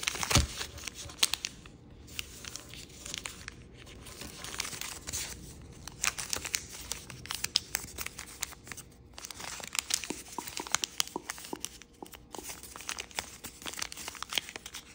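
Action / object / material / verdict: scrape / sheet of origami paper / paper / none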